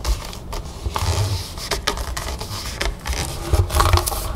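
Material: Plastic.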